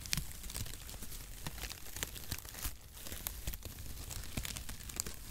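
A flat bundle of zigzag cardboard packaging shreds is held in both hands over the microphone while fingertips crumple and rub the strands. The result is a steady, dense crinkling and rustling with sharp, bright crackles and a low, muffled handling rumble underneath, staying at a fairly even level throughout.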